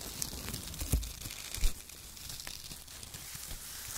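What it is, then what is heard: Shredded kraft paper. Two hands squeeze and crumple handfuls of thin, torn strips of brown shredded kraft paper, making dense, continuous crinkling and tearing. Two sharper, low-thudding crunches stand out near the start, over a steady bright rustle.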